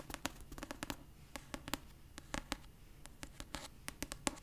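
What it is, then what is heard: Paperback book cover. Long purple nails scratch and tap the cover of a pastel paperback copy of "Red, White & Royal Blue," a solid paper book held upright. About twenty quiet, dry, bright clicks sound in an uneven rhythm, each dying away almost instantly, with soft scratching between them over a low murmur.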